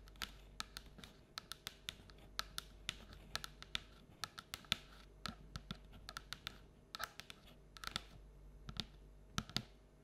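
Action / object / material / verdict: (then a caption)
tap / paperboard bucket tapped with long fingernails / paperboard / none. Long orange and black nails tap rapidly on the outer wall of a paperboard Halloween treat bucket held upright. About 36 quick, dry, bright clicks come in an uneven patter over a low, steady hum, each dying away almost instantly.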